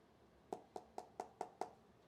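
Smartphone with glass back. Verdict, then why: Solid. Six quick knocks on the glass back of an iPhone 14 Pro Max give short, dry taps centered around 730 Hz with almost no ring. The back sounds solid rather than hollow, the less hollow of the two phones compared.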